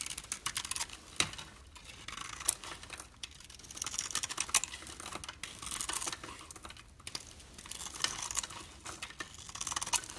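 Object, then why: Bar of soap. A utility knife blade shaves and scrapes the surface off a solid pink bar of soap with a speckled coating, held in a hand with red nails. Dense, crisp crunching and scratchy ticks come in quick bursts, mostly high and bright with almost no low end, and each tick dies away almost at once.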